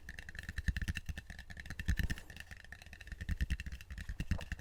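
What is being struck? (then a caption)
Wooden bowl. A wooden bowl is tapped up close in a steady run of soft, quick knocks. Each tap is a dull, low thud that dies almost instantly, with a faint steady tone in the upper mids underneath.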